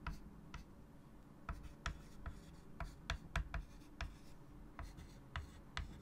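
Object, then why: Chalk on a wood-framed chalkboard. A hand writes with white chalk on a large wood-framed chalkboard, producing thirteen short, scratchy chalk strokes and taps that each flash briefly into a bright range. The strokes sit over a steady low hum and die away almost instantly.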